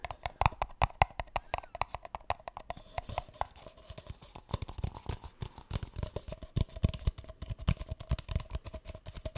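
A single empty, hollow, light green paper cup is held upside down and tapped on its base and sides with fingertips and nails. A rapid, uneven run of many dry, hollow taps follows, mostly low thumps with a faint tone near 780 Hz and almost no ring after each hit.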